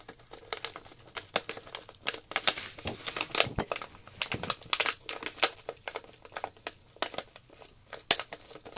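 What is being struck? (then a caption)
Plastic zip-lock bag with tablets. Long black nails tap and scratch a small clear plastic zip-lock packet of round coloring tablets, pressing on the tablets through the plastic. Quick, bright crinkles and crisp taps keep coming in irregular bursts, with almost no low end and no ring after each touch.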